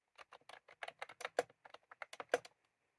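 Fingertips of both hands type on a white-cream plastic retro computer keyboard with round typewriter-style keycaps, resting on a desk. About fifteen quick, dry plastic clicks come in an uneven rhythm, each with a hollow midrange tone and almost no ring. A few keystrokes land louder than the rest.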